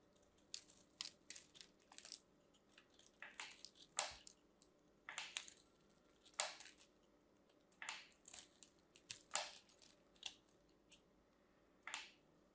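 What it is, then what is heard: Bar of soap being scraped and cut. A craft knife scrapes and cuts into a solid pink and white striped bar of soap with a crosshatch-scored surface, crumbling small pieces off. Short, bright, dry crunches and scrapes come in quick irregular bursts over a quiet background, each dying away almost at once.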